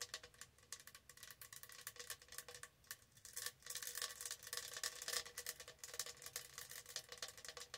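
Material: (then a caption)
Plastic. Long acrylic nails on both hands scratch and tap a tall, hollow lilac plastic tumbler with a textured, studded surface. The result is a quiet, dense stream of bright, crisp clicks and scratchy rasps with a faint hollow ring, growing louder and busier in the middle of the clip before easing back.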